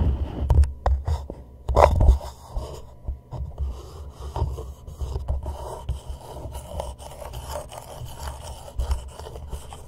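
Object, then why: Plastic cup. An empty, hollow, palm-sized white plastic reusable cup sits upside down over a microphone head while fingertips and short nails tap and rub its sides. Dull, low, hollow knocks and muffled scraping come through, with a few louder taps near the start. The sound then settles into softer, continuous rubbing.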